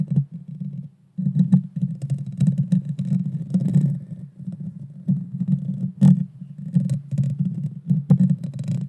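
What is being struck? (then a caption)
Metal mesh microphone grille. Long dark fingernails scratch the small, hollow, round metal mesh grille of a Blue Yeti Nano microphone. The result is a dense, boomy, low rumbling scrape, broken by a brief pause just after the first second and dotted with sharp scratchy bursts that reach bright, crackly highs.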